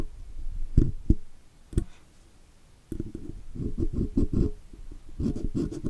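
A steel pick scratches along the letters and rim of a chrome oval logo badge on a metal microphone body while the microphone is being cleaned. Irregular bursts of dull, low-heavy scratching and scraping come through close up, with a few short sharp ticks carrying a bright edge. A near-silent pause of about a second falls before the scratching resumes in denser, busier strokes to the end.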